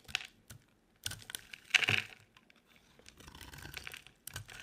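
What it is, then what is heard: Dry soap bar scraped with a blade. A utility knife blade scrapes a solid, dry, cream-colored rectangular soap bar held in hand. The scrapes come as short, dry, bright crackling strokes with quick ticks, louder around the middle, followed by a longer, softer rasping stretch.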